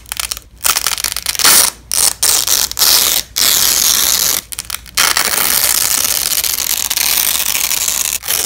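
A yellow and black nylon hook-and-loop fabric strap is held between two black-gloved hands and slowly pulled apart, producing a bright, crackling rip. The tearing comes in several bursts with short pauses, then settles into one long, steady rip before a brief final pull.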